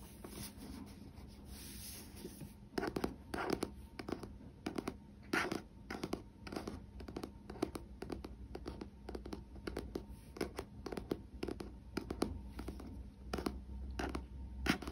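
A paperback novel with a glossy paper cover is turned over and held in the hands while its back cover is scratched and rubbed with fingertips and nails. A soft, steady rub for the first few seconds gives way to a quick run of crisp, dry scratches over a low background hum.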